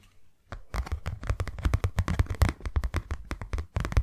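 Long nails tap fast on a hand-sized white cardboard box, closed and empty. The taps come in a quick, uneven run of short, dry hits with a hollow low thump under each click. Each hit dies away almost at once.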